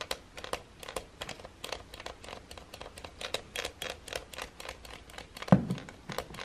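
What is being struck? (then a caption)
Plastic hair dryer body. A fingertip taps and presses the slide switch and the small button near the handle of a silver plastic hair dryer body lying on a wooden table. A steady run of dozens of short, dry plastic clicks and taps sounds with almost no ring, and one sharper, louder click lands near the end.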